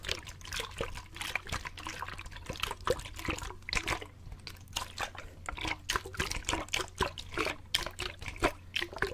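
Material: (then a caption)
Plastic. A clear plastic drinking bottle with a grey screw lid and an inner straw, partly filled with water, is held horizontally in both hands and shaken so the water sloshes. The result is a continuous run of quick, bright splashing and trickling bursts over a steady low hum.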